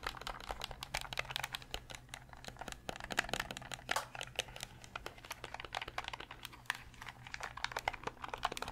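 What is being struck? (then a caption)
Hard plastic game controller. Fingernails tap rapidly on the grips and hollow hard-plastic shell of a translucent purple Nintendo 64 controller. Dense, crisp clicks with no ring follow one another across the clip over a low steady hum.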